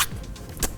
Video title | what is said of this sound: The new entry-level king? - Poco M3 unboxing & hands-on | listening to it, this is definitely plastic. It's like plastic. It's not even like plastic trying to be glass or plastic trying to be metal or plastic trying to not be plastic.